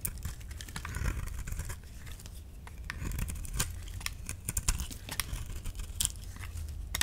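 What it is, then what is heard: Dry soap bar being shaved. A metal utility-knife blade shaves flakes from the face of a solid orange dry soap bar held in the palm, in repeated scraping strokes. Each stroke gives a dry, crisp, bright scrape with a quick crackle, over a steady low rumble. Curls of soap come away as the blade carves.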